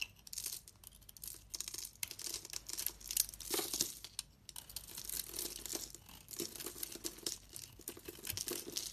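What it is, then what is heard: Bar of soap being carved. A hand-sized solid bar of pink and purple striped soap, held in the hand, is scraped and carved with a metal utility-knife blade, sending shavings flaking off. A steady run of dry, bright, crackling scrapes and crisp flaking strokes comes in quick bursts, with almost no low end and no ring after each stroke.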